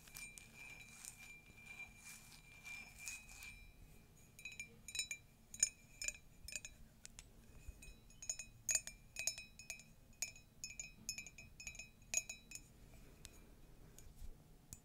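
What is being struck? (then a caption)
Ceramic mug. Long nails tap a hollow, empty, flared ceramic mug with a pastel carousel print and a yellow handle on its side, base and rim. A soft, steady ringing rubs through the first few seconds, then quick, bright clinks with a short, high ring follow in uneven bursts.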